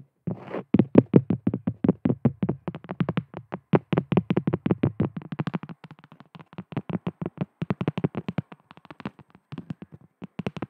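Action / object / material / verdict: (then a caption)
tap / cork coaster / cork / none. A round, thin, solid cork coaster about the size of a palm, held upright and tapped quickly with long decorated fingernails. The result is a fast, dense run of soft, dull, woody taps with a low body and almost no ring, steady at first, then thinning into sparser bursts toward the end.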